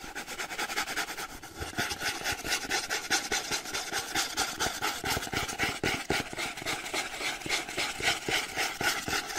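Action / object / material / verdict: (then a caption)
scrape / cardboard box / cardboard / none. Fingernails rub and scratch the plain kraft-brown side panels of a printed cardboard charger box as it is turned in the hands. The result is a steady run of fast, dry, bright scratching strokes with a papery hiss throughout.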